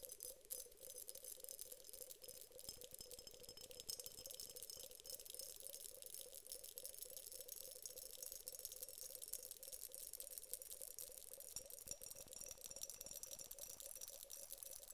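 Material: Glass.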